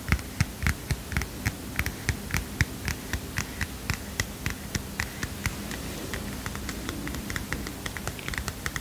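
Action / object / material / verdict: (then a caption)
tap / small heart-shaped paper notepad / paper / none. A small heart-shaped paper mini notepad is tapped and scratched with fingernails. Quick, light, dry taps land at an uneven pace with crisp, bright clicks over a steady low hum. Midway the taps soften into a scratchy rustle before sharper taps return near the end.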